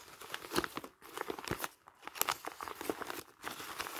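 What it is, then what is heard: Crumpled paper pages. A bundle of thin, light printed paper pages, already crumpled and loose, is squeezed and crumpled by bare fingers and hands over a pile of magazines. A dense run of sharp, bright crinkles and crackles comes in bursts, with brief quieter gaps between handfuls.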